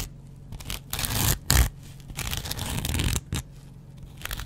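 A hand-sized dry kitchen sponge of porous, soft yellow cellulose foam with a green abrasive scrub layer is held in one hand and scratched on its yellow foam side with a metal double-edge razor blade. Bursts of dry, bright, tearing scratches come in short and longer strokes, separated by quieter pauses over a faint low rumble.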